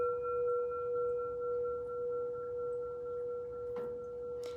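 An empty metal Tibetan singing bowl is struck and rings clearly with a long, sustained tone near 484 Hz and a fainter overtone above it, the level swelling and fading slowly in a gentle beating pattern. The tone holds steady for the whole clip, with two short bright noise bursts near the end.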